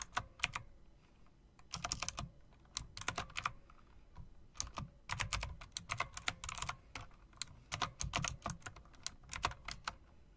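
Long dark nails and fingertips click the round plastic keycaps with chrome rims on a plastic and metal typewriter-style RGB mechanical keyboard. Quick clusters of sharp, bright clacks with soft low thuds beneath come in uneven bursts with short pauses between. Each click stops almost instantly, over a faint steady background hiss.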